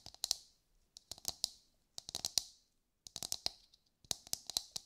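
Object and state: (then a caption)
Whole coconut. A brown husked whole coconut with a hard fibrous shell is held in both hands and tapped and scratched with long light-grey nails. Quick, bright, dry clicks come in four short bursts with faint scratching between them. Each tap dies away almost at once, with no ring.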